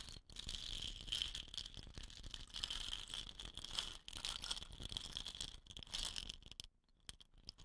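A hollow, dot-painted wooden rain stick resting on dark cloth is tapped and scratched along its painted surface by long nails. The result is a dense, continuous rattling scratch with a bright band around 3 kHz and quick, dry taps that barely ring. The sound drops out briefly near 0.3 s and 4 s and thins to sparse clicks near the end.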